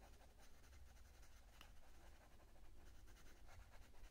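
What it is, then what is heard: Coloured pencil shading on a paper colouring page. A purple wooden coloured pencil is rubbed back and forth over the thin printed paper page of an open colouring book lying flat, shading a petunia petal. The result is a quiet, steady, scratchy rubbing texture with soft bright strokes over a low rumble.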